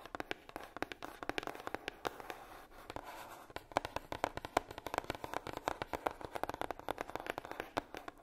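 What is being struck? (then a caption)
Heart-shaped coated cardboard box. Long nails tap rapidly on the lid of a hollow, red heart-shaped box, likely made of coated cardboard. The roughly fifty quick, dry clicks are centered in the midrange, with little low end and almost no ring after each tap.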